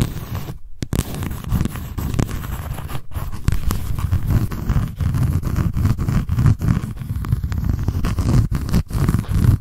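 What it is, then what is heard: Cardboard notebook cover scratched with nails. Long nails scratch the embossed text and edge of a paper notebook's white embossed cardboard cover. The result is a continuous, rough, close-up scraping made of many quick strokes, heavy in the low end, with a couple of brief silent pauses.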